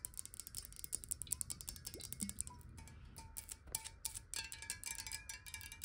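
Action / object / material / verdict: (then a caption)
tap / glass water bottle, partly filled / glass / none. Long nails tap quickly on the sides and edges of a square, clear glass water bottle that is partly filled with water and held tilted. The result is a dense run of quiet, sharp clicks with bright, high glassy ticks and faint ringing tones.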